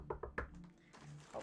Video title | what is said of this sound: Actual shirt fabric yay! - Juno's Cosplay Workshop- Inej Ghafa Part 7 | knocking on my chair by the way cuz it's wood